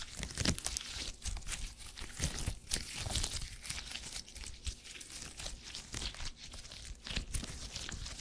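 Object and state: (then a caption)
Gel grid cushion, squeezed. A small purple gel grid cushion made of hyper-elastic polymer is pinched, stretched and squished with fingertips. This produces a continuous run of sticky, crackling, crinkly peeling sounds with bright, sharp edges over soft low thuds. The texture rises and falls in quick bursts throughout.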